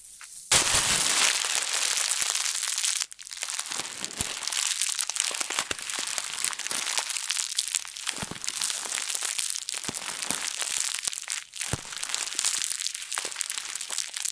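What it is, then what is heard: Plastic bag. A thin, translucent, printed plastic bag, balled up and hollow, is squeezed and crumpled in both hands with fingertips and long nails over a wooden table close to the mic. A loud, steady burst of bright, crisp crinkling runs for about two and a half seconds, then settles into quieter, irregular crackles and snaps that continue to the end. The sound is almost entirely high-pitched, with very little low end.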